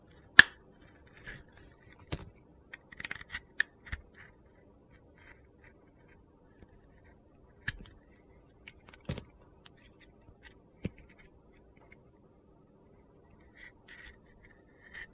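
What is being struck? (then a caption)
Glitter-coated soap bar. A utility knife peels thick slices off a glitter-coated orange soap bar, cutting through the glitter crust. Scattered, quiet, crisp scraping clicks and gritty crunches come with brief, bright snaps and almost no ring, separated by pauses.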